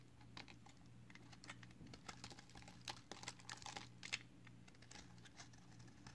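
A narrow, solid green-and-white layered soap bar is held in the fingers while a box cutter blade shaves thin slices off its white side. Quick, dry scraping ticks and crisp flaking sounds repeat over a steady low hum. The brief, bright transients cut off almost at once.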